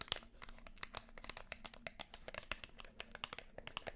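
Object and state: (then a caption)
Cardboard and plastic blade pack. Long nails tap and scratch a small Wilkinson razor blade pack, a plastic blade case on a yellow cardboard backing. The result is a quiet, steady run of quick, dry, bright clicks and crinkly scrapes that stop instantly, over a faint low hum.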